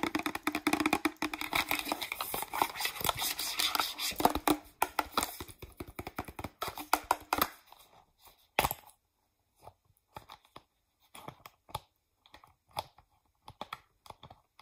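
Long acrylic nails tap rapidly on the front label and cap area of a green, hand-sized, hollow plastic Pert 2-in-1 shampoo bottle. For about seven seconds the clicks are dense and scratchy, with bright, hollow plastic ticks. After that they thin out to scattered single taps separated by short silences.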